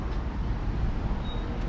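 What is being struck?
Nothing is struck.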